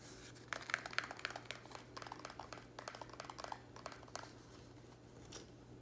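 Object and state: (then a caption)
Empty plastic plant pot. A small, empty, square black plastic nursery pot is held in the air while fingernails tap its hollow walls rapidly. The result is a quiet flurry of sharp, dry, bright clicks with a plastic tick near 1.6 kHz and almost no ring. The taps are densest in the first half and thin out toward the end over a faint steady low hum.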